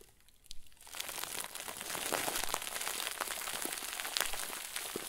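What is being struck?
Plastic bag filled with soft stuffing.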